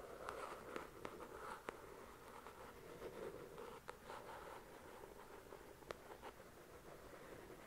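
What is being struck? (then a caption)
Paperback book with card cover. Long nails tap and scratch the glossy card cover of a solid paper paperback novel, "The Shack." A steady, soft scratching hiss runs throughout, with energy centered in the low mids around 440 Hz, broken by six short, sharp taps that die away almost instantly. The taps fall closely in the first two seconds and are more spread out afterward.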